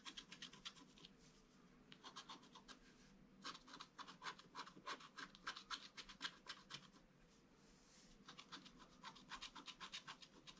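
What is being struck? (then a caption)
Black-coated scratch-art card and wooden stylus. A wooden stylus scratches fine lines on the flower and the figure of a flat black-coated scratch-art card. Quiet bursts of quick, bright, raspy scratching strokes come in rapid runs, separated by short pauses of near silence.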